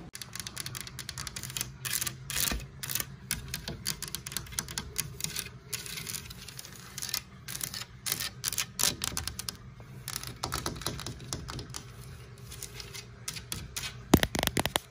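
Long nails scratch and tap across the carved relief of a large white, distressed-paint, openwork wooden wall medallion hanging on a wall. Quick, dry, clicky taps mix with bright scratching over a steady low hum. The taps have almost no ring, and a few louder taps come near the end.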